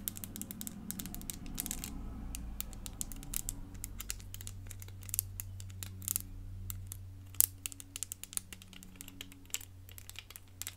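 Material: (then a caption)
Plastic. Long nails tap and scratch a small, hollow-ish clear plastic crystal elephant puzzle made of many pieces. Rapid, irregular, sharp, bright clicks with almost no ring are mixed with faint scratching over a steady low hum.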